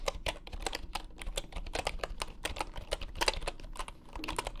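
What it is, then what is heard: Bamboo keyboard. Fingertips type fast on a full-size bamboo wooden computer keyboard resting on a grey mat. A quick, steady run of short, dry key clicks with a mid-pitched wooden tone and bright edges. Soft low thumps sit underneath, and each click dies away almost at once.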